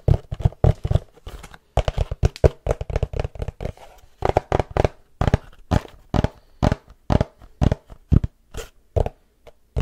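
A long, rectangular, printed cardboard tripod box, hollow and held in both hands close to the mic, is tapped with fingertips and nails. The result is a steady run of quick, dull, hollow thumps, mostly low in tone, with a faint crisp tick on some strikes. Each tap dies away almost instantly.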